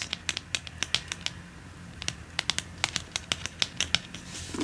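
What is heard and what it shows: Fingertips and nails scratch and tap along the cover and spine edge of a medium red-brown hardcover book with a cloth/leather-look binding and gilt decoration, held upright. A quick, uneven run of sharp, dry, bright clicks sits over a faint low hum, each tap dying away almost instantly.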